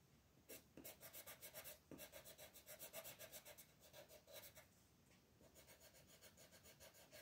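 A blue wooden colored pencil scratches and shades small areas of a flat paper coloring book page in quick, repeated strokes, while the other hand, with red nails, holds the page. The result is a steady run of soft, bright, scratchy rasps, about four strokes per second, with a faint midrange tone around 650 Hz under a hiss.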